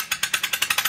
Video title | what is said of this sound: Coin Dealer Exposes FAKE Silver and Gold Coins! Testing Precious Metals | here is a Chinese panda that if you drop it on the counter you can hear it's not silver